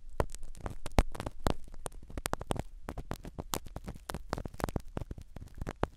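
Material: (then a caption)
Foam. A black spiral ear pick scratches the foam cover of a small black microphone set inside a silicone dummy ear. The result is a rapid run of dry, crackling scrapes and sharp clicks with a deep, muffled rumble underneath. Each scratch stops almost instantly.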